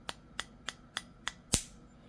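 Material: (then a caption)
Eggshell. The back of a spoon taps the rounded end of a raw chicken egg six times: five light, bright clicks, then a louder, sharper crack with a short ring. That crack is the inner membrane breaking while the shell stays intact, which makes the egg easier to peel after boiling.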